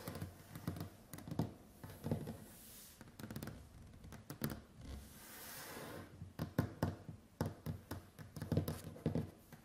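Long white acrylic nails and fingertips tap rapidly on a large, solid, varnished wooden tabletop, making quick, dull knocks with low thuds that stop almost at once. Two short stretches of soft, airy brushing break up the irregular flurries of taps.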